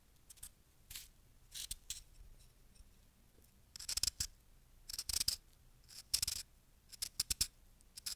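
A fist-sized lump of fresh, solid packed snow held in the palm is cut and scraped with a small wooden-handled carving tool with a metal tip. Short, crunchy scraping and cutting bursts come in irregular clusters, bright and crisp with little low end, over a quiet background.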